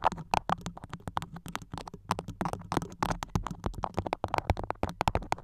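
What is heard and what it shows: A floral beeswax-coated cotton food wrap covering the top of a microphone is scratched and pinched with long nails. The result is a dense, rapid stream of sharp crackles, sticky clicks and crinkles over a soft low rumble.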